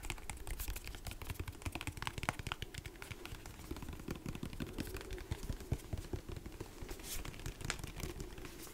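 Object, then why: Plastic lotion pump bottle. Fingertips and nails tap rapidly on a large white plastic lotion pump bottle, held both upright and sideways. The result is a dense, continuous patter of short, dry taps with a hollow low thump under bright clicky edges, each dying away almost at once.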